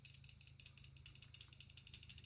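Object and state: Rattling revolver transfer bar.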